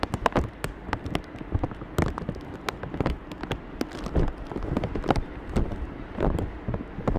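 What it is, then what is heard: Wet plastic bag over a microphone. Fingertips and short nails tap, press and crinkle a thin, clear plastic bag wet with water droplets, wrapped over a black microphone resting on a tray. The result is a dense, irregular stream of sharp crackling clicks and soft low thumps over a muffled, rumbling bed, sounding much like rain pattering on a surface.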